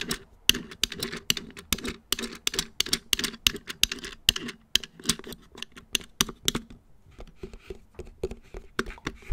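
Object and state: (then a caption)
Plastic wall clock back, fingertip drumming. Fingertips of both hands tap and drum on the hollow black plastic back of a round wall clock, around the movement box at its center. A steady stream of quick, dry, bright clicks with a faint hollow body sounds, each tap dying away instantly with no ring. The drumming grows lighter and softer toward the end.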